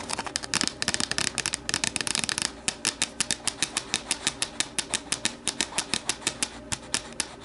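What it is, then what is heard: Plastic deli container tapped with nails. Long nails tap the sides of an empty, hollow, translucent plastic deli container standing upright. A fast, dense flurry of bright, clicky taps gives way to a steady run of evenly spaced, crisp taps. Each tap is short and dry, with almost no low-end body.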